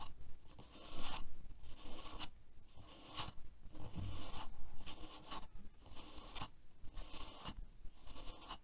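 A black plastic paddle hairbrush with a hollow-looking handle and plastic bristles lies on a white table while fingertips and nails scratch and rub its handle and bristles. Repeated dry scratching strokes with bright raspy bursts come in a loose rhythm over a low rumbling bed.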